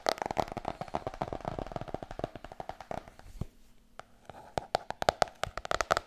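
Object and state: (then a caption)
Hardcover book tapped with nails. Long nails drum rhythmically on the cover of a large, glossy, solid hardcover book. Fast, dry, clicking taps with a woody tone around 690 Hz patter in quick runs and die away almost instantly. The tapping softens briefly near the middle before picking back up with sharper, louder strikes.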